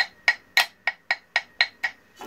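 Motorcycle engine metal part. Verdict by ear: Dull.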